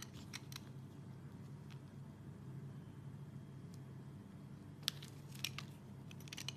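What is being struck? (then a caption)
Soap bar shaved with a peeler blade. A hand-sized, solid translucent red soap bar held in one hand is shaved with an orange Y-peeler with a serrated metal blade, and curled shavings fall onto a bamboo mat. Short, crisp scraping and peeling strokes repeat irregularly over a steady low hum, with the sharpest, brightest scrapes coming near the end.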